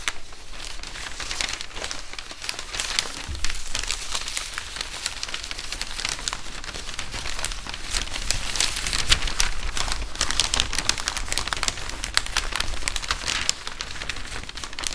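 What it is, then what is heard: Crumpled newspaper. Several thin newsprint pages are gathered and crumpled between both hands above a wooden table. A steady, dense crinkling of bright, sharp crackles runs throughout over a faint low rumble, swelling slightly in the middle.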